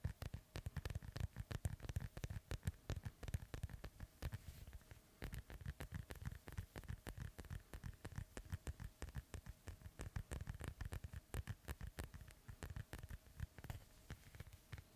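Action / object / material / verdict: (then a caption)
tap / inflated synthetic leather soccer ball / synthetic leather / none. Fingernails tap and scratch the panels of an inflated, hollow white, black and yellow soccer ball with a synthetic leather cover, held beside a microphone. A steady stream of quick, quiet, dull low thuds with very short decay is heard, mixed with faint scratchy rasps, for the whole fifteen seconds.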